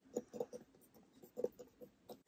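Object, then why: Wooden box. Fingers tap on a wooden box that holds Chinese flash cards, making a series of soft, dull taps with a low-mid body and almost no ring. The clip ends with a brief bright burst, and the tapping comes across as gentle and soothing.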